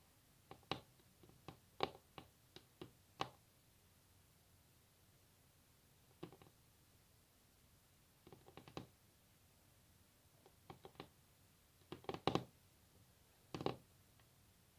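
Long natural nails tap on a solid varnished wooden tabletop, making quiet, dry clicks that stop almost instantly. The taps come in loose bursts separated by near silence, each with a sharp, bright attack over a hollow tone around 390 Hz.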